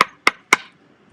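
Three sharp, bright knocks on the fiberglass heel of an Irish dance hard shoe, evenly spaced about a quarter second apart. Each hit is crisp and high-pitched with almost no low end, and it fades quickly.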